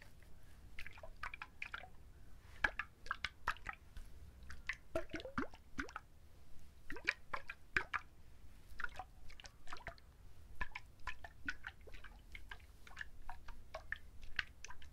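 Fingertips scratch and tap the fibrous husk of a whole coconut held in both hands and then raised, making a quiet, steady stream of crisp, dry taps and scratchy rustles. Each sound is short with almost no ring, centered in the mid range around 1.7 kHz with brief bright edges, over a soft low background.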